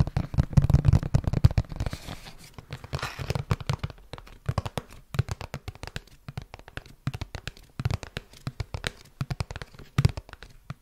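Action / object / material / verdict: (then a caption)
tap / cardboard product box / cardboard / none. A small, hollow, printed red and white cardboard retail box that appears to hold a product is held close to the microphone and tapped and scratched with fingertips and nails. Quick, irregular taps land as dull, hollow low thumps with very short decay, mixed with papery scratching and rustling that is thickest near the start and around the three-second mark.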